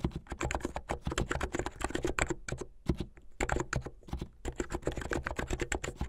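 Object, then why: Plastic mechanical keyboard keys. Fingertips with medium-length painted nails type fast on a plastic mechanical keyboard with white and blue plastic keycaps. The result is a rapid, dense stream of short, clacky keystrokes with a low, thumpy body, each dying away almost instantly. The typing briefly thins out around the three- and four-second marks.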